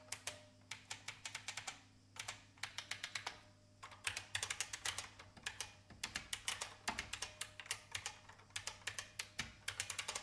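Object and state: Plastic mechanical computer keyboard.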